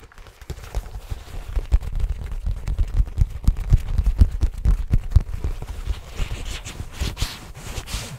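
Fingertips rapidly scratch and rub the surface of a soft, hollow, black faux leather zippered pouch held in both hands close to the mic. The result is a dense, irregular run of dull, deep thumps and muffled rubbing, with a brighter scratchy rustle coming through toward the end.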